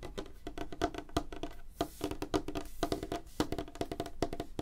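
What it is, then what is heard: Light wooden tabletop. Fingernails tap rapidly on a solid, flat, light wooden tabletop. The clicks are dry and short, landing in quick uneven bursts, with a hollow woody tone around 300 Hz and faint bright edges. Each tap dies away almost instantly.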